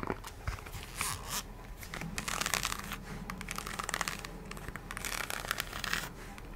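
Long nails scratch the brown patterned synthetic rubber sole of an empty nude heel and tap the heel. The result is dense, crinkly scraping with many quick, bright clicks and taps.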